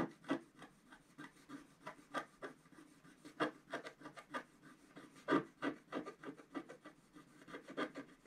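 A wooden stylus scratches lines into the coating of a flat black scratch art paper sheet lying on a table. Short, dry, rasping strokes come in a rapid, irregular series of about two dozen, quiet and mostly in the midrange with little low or high energy.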